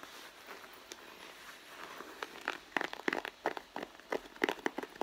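Long blue nails scratch and tap the side panel of a red pebbled-leather handbag, which sounds hollow and soft. A quiet, soft scratching gives way to a run of sharp, dry taps and crackles with bright edges and almost no low end.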